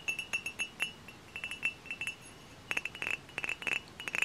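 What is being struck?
Glass bottle.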